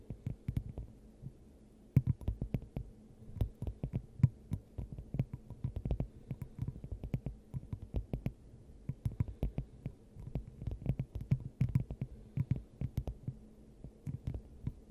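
A clear, hollow, hand-sized glass dome fitted over the top of a microphone is tapped with the long acrylic nails of both hands. The result is a steady stream of quick, irregular taps that land as soft, muffled, low hollow thumps with a faint bright click on some hits. A low resonant hum sits beneath them throughout.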